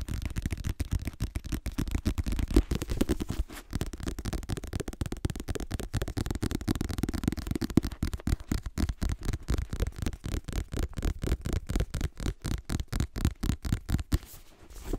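Short nails rapidly scratch and tap the glossy back cover of a black paperback book held upright. The taps come in a quick, uneven stream of dull, low, dry clicks with no ring, mixed with faint scratching. The sound thins out and quiets near the end.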